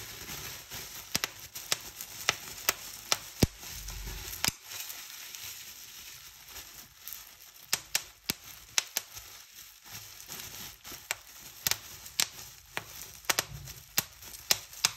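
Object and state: Plastic bubble wrap popping.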